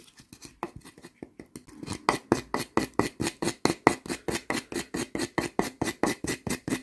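Two solid pieces of split, light firewood are held in the hands while fingertips scratch along the grain and one piece is scraped against the barked piece. About 26 quick, dry scraping strokes follow one another in a steady rhythm, starting soft and growing louder after the first two seconds.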